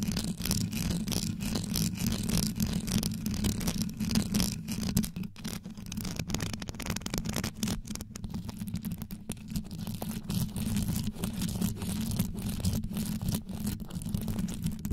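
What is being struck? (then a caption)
Rhinestone-covered metal microphone grille. Long yellow nails on both hands scratch and tap the rhinestone rows wrapped around the hollow grille of a metal desktop microphone. The result is a fast, steady stream of short, dry clicks and scrapes over a deep, boomy low hum centered around 200 Hz. There is no pause throughout.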